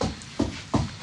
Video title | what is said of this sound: Best of Holmes on Homes - FULL SEASON MARATHON | that sounds Hollow doesn't it